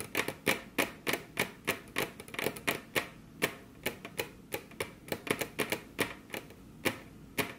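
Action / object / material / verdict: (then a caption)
tap / wooden table top / wood / none. Both hands rest on a flat, solid, glossy dark-brown wood-grain table top while very long curved nails tap it with their tips. About 28 quick, dry, bright clicks come in an uneven rhythm, each dying away almost instantly with little low end.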